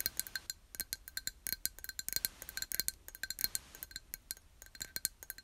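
A small, empty, clear glass jar, hollow and held in both hands, is tapped on its sides with long nails in a quick, irregular run of light taps. Each tap is a bright, high clink that dies away almost at once, with a soft, quiet level and little low end throughout.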